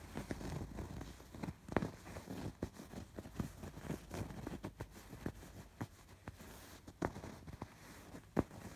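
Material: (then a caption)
Fabric. Fingertips and nails scratch along the hexagon stitching of a soft stuffed pillow with raised colored embroidery. The result is a quiet, low, muffled scratching and rustling, broken by short, dry ticks and taps that die away at once.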